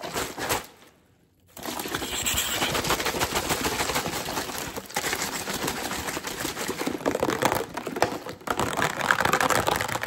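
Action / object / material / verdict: tap / plastic drinking bottle / plastic / none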